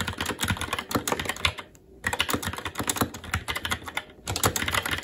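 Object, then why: Mechanical keyboard with plastic keycaps on a metal plate. Rapid continuous typing with both hands' fingertips on a SteelSeries Apex 7 TKL mechanical keyboard, with plastic keycaps on a metal top plate and Red linear switches. Dense, short clacky keystrokes with a bright edge and almost no ring run in quick bursts, broken by brief pauses near 2 seconds and again around 4.2 seconds.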